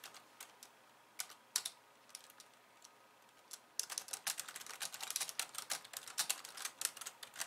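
Long painted nails type on a pink, low-profile plastic computer keyboard with white keys resting on a wooden desk. Sparse, scattered key taps give way after a few seconds to rapid, continuous typing of sharp, bright plastic clicks with almost no low end and very little ring.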